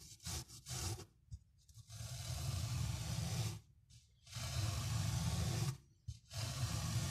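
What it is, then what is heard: Miniature fabric carpet being scrubbed. A tiny bristle brush on a thin handle, held in the fingers, scrubs a small brown patterned pile carpet of miniature fabric covered in soap foam, rubbing back and forth. A few short rasps are followed by long, steady scrubbing strokes with brief pauses between them. The sound is a heavy low rumble under a bright, foamy hiss.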